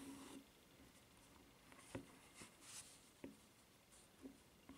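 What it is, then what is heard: Rubber flip-flop. Long nails tap and scratch the footbed of a white rubber flip-flop with a red strap, which is then turned over to show its ridged sole. Soft, short dull taps and quiet scratchy rustles stand out against a low, steady background hum.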